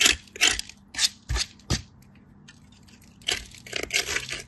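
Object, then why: Soap bar on a steel grater. A small remnant of solid pale soap is rubbed with fingertips against a perforated steel grater over a pile of soap shavings. Short, bright rasping strokes come in an irregular series, with a quiet pause in the middle before a few more scrapes.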